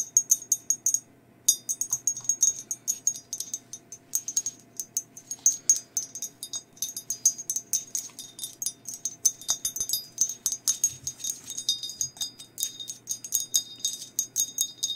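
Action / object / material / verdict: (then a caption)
tap / glazed ceramic mug / glazed ceramic / none. Long nails tap and scratch the sides and handle of a hollow, glazed ceramic mug with a skeleton design. A steady stream of quick, bright clicks with a high, glassy tone dies away almost at once, broken by a short pause early on. Softer scratching fills the gaps between taps.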